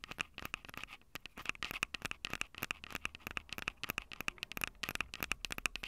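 Long purple nails tap and scratch the metal mic capsule heads of a small Tascam DR-05 recorder with a plastic body and two metal capsules. Rapid, close, dry clicks and scratchy crackles ring out with almost no decay. The sound is bright and high-heavy with a recurring tone near 2.6 kHz.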